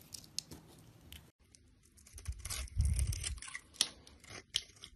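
A blade scrapes flakes off the face of a solid rectangular bar of soap, green and orange outside with a cream core, held in a hand with long red nails. Dry, crisp scraping and crackling strokes come in an irregular run of sharp, bright ticks. The sound swells into a louder, low rustling grind in the middle before thinning back to scattered clicks.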